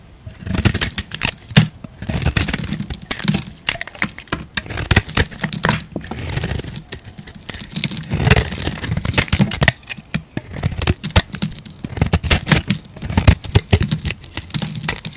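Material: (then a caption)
Soap. A utility knife blade scrapes across a palm-sized solid purple bar of soap held in a hand, shaving off flaky curls. Short, dry, crackling scrape strokes repeat in quick bursts, each with a soft low body and a bright, papery rasp that stops almost instantly.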